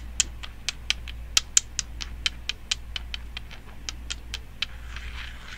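Long decorated nails fitted with metal nail caps tap and scratch the surface of a small, solid, pale, unfinished wooden toy building block shaped like a cone, held in both hands. About seventeen short, bright, dry clicks ring out over a steady low hum, then a soft, hissy scratching fills the last half-second.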